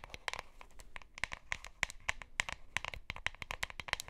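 Long nails scratch and tap along the sides and bottom of a hollow plastic deodorant stick container with a printed label and white cap. A rapid, irregular stream of sharp, dry clicks and scratchy crinkles is heard. The sound is bright and centered around 2 kHz, with almost no low end, and each tap dies out instantly.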